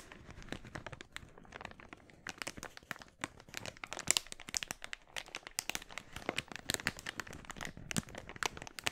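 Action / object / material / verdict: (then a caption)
scrape / thin polyethylene mailer bag / polyethylene / none. An empty, glossy red, thin polyethylene mailer bag is bunched in both hands while fingertips squeeze and crinkle the plastic. Dense, bright crackling and crinkling rises in quick sharp bursts with little low end, each snap dying almost instantly, continuing steadily for the full nine seconds.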